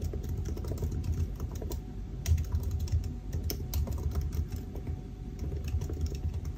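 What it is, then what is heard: Laptop keyboard typing. Fingertips of both hands type continuously on the black plastic keys of a silver aluminium laptop keyboard. The result is a steady stream of soft, quick clicks with a dull low thump under each press and a bright tick on top. A faint steady hum runs underneath.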